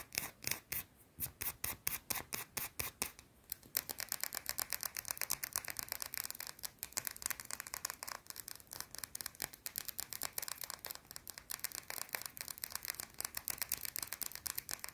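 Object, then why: Solid bar of soap. A small, round, solid white soap bar is scratched quickly with long blue nails. Bright, dry scraping strokes come in a rapid rhythm: slower, spaced strokes for the first few seconds, then a dense, fast run of scratches with no ring after each stroke.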